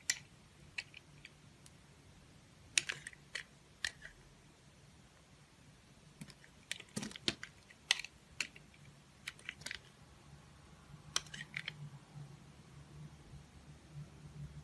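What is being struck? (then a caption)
Bar of soap cut with a metal blade. A metal utility blade carves a solid blue oval bar of soap held in the hand, slicing off smooth, thin blue peels. About twenty short, crisp, bright scraping clicks come in irregular bursts with quiet pauses between them, over a faint low steady hum.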